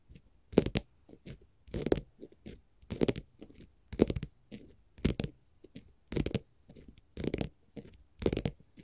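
A flat green glitter faux leather sheet lying on a table is scratched and tapped with long, pointed gold metal finger-jewelry nail caps. It makes a quick run of dry, crackly scratching bursts with short, damped taps between them. Each burst has a bright, gritty top, and it's quiet overall.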